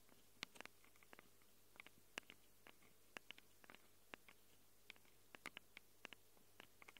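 Long acrylic nails scratch and tap the metal-rimmed microphone capsules of a small handheld Tascam recorder with a plastic body. A quiet, irregular string of quick, dry clicks and ticks is heard, each very brief and bright with a peak around 2 kHz, over a low steady hum.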